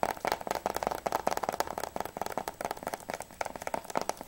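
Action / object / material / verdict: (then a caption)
tap / plastic game case / plastic / none. Fingertips tap rapidly on the plastic sleeve of a Battlefield Bad Company PS3 game case, first on the front cover and then on the back. The result is a quick, steady stream of short, dry plastic clicks with a hollow tone around 700 Hz and bright edges that die away almost instantly.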